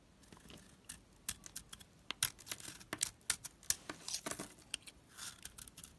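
A knife blade scrapes and crumbles pieces off a hand-held, opaque, solid, rectangular pink Falcon household soap bar. Quiet, dry, bright scratching comes in many short crisp bursts and crackles, with almost no low end, as flakes break away.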